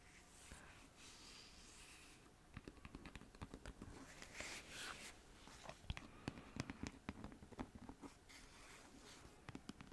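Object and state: Plastic lotion tube.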